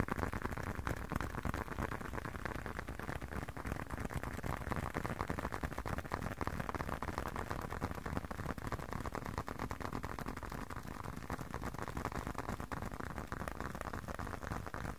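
A closed, hand-sized blue leather long wallet is tapped rapidly with the fingertips. The result is a steady, quiet stream of soft, muffled thuds, mostly low in tone, with very short decay and almost no bright content.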